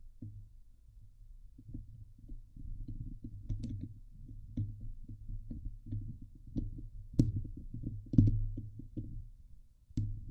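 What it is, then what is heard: Metal mesh microphone grille being scratched. Long nails scratch the hollow steel mesh dome grille of a Blue Yeti microphone. The result is a dense, boomy, low rumbling scrape broken by irregular thumps and a few sharp, bright clicks.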